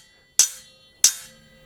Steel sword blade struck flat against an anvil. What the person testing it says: Rings perfectly fine there's no vibrations no movements